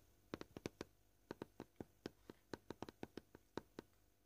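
Short purple-painted fingernails gently tap a flat, solid, scratched white plastic cutting board at an irregular pace. Nineteen quiet, dry clicks with a hollow tone around 355 Hz stop almost instantly, with pauses between bursts.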